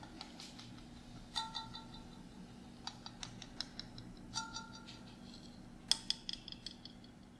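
A clear glass mason jar with liquid inside and a metal screw lid is tapped on the lid and glass with fingernails, then tilted or shaken. Quick, bright clicks and ringing glassy taps come in scattered bursts over a faint, steady low hum.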